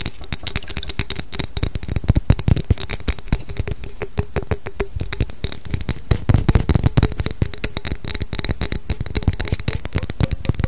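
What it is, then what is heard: Glass perfume bottle. A small clear thick-glass perfume bottle with a label is held in the hands and tapped and scratched with long decorated nails. A fast, dense stream of short, dry clicks and scratchy ticks runs throughout, with a soft low thump under each tap, a faint steady tone around 400 Hz, and a couple of louder bursts.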